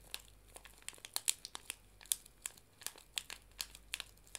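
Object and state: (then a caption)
Paper tea bag sachet being crinkled. A small, flat paper tea bag sachet is held in both hands and bent and crinkled with fingertips and long nails. A quiet run of sharp, bright, dry crinkles and crackles comes in irregular bursts, each snapping off almost instantly with no ring.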